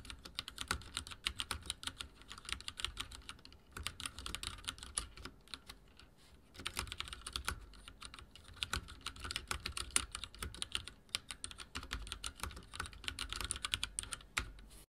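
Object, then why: Mechanical keyboard with plastic keycaps. Fast typing with both hands on a full-size backlit mechanical keyboard with dark plastic keycaps on a metal plate and linear switches, resting on a wooden desk. Rapid bursts of bright, short clicks and taps run nearly continuously, with a brief lull a little after the five-second mark before the typing picks up again.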